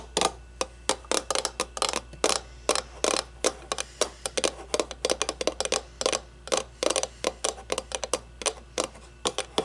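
Long nails tap the sides of an empty, hollow, clear acrylic cube display case about the size of a baseball, standing on a wooden table. There are 38 quick, crisp, bright clicks in irregular bursts, each dying away almost at once, over a faint low hum.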